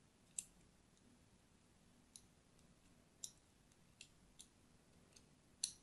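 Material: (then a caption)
Soap. A thin metal blade scores crosshatch lines into a pink and white striped solid soap bar held in hand. Seven quiet, bright, crisp clicks come at irregular intervals, each dying away almost instantly over a faint low hum.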